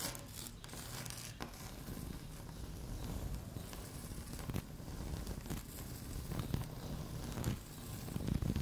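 Long fingernails on both hands scratch quickly across a solid, flat, speckled beige laminate tabletop. The result is a steady, dry, rasping scratch with a heavy low rumble underneath and occasional sharper ticks and crackles. It lasts about nine seconds at a fairly even, soft level.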